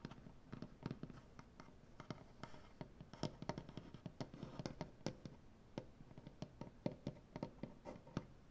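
Both hands with long black-painted nails scratch and tap the surface of a large solid maple butcher block tabletop. Quick, dry, woody taps with very short ring fall over a low, soft scratching texture, irregular and fairly quiet throughout.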